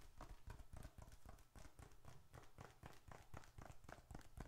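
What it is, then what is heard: Leather wallet tapped. A small dark red leather bifold wallet is held upright while the fingertips and nails of the other hand tap across its surface. The result is a quick, uneven patter of soft, dull, low thuds with almost no ring, each tap dying away at once.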